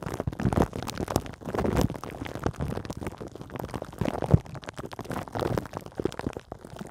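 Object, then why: Plastic film over a metal mesh microphone head. Long green nails scratch continuously with both hands over a hollow metal mesh microphone head wrapped in clear plastic film. The result is a dense, crinkly, low-heavy rustle that rises and falls in bursts, with one sharper knock near the middle.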